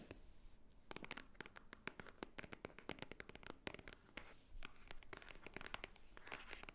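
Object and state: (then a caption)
Cardboard jewelry box. Long painted nails tap and scratch the top edge and front of a small, hollow white Swarovski cardboard jewelry box standing upright. Quick, dry clicks with very short ring fall in an irregular run over a soft, bright scratching hiss, each tap giving a light hollow knock.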